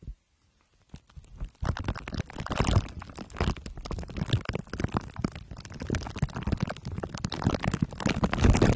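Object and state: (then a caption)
Foil and plastic-wrapped microphone being rubbed. Two glue sticks are rubbed on top of a microphone head wrapped in crumpled aluminium foil under clear plastic wrap. After a brief near-silent start, a dense, continuous stream of sticky crinkling and scraping sets in, heavy in low rumble with occasional louder crackles, building slightly toward the end.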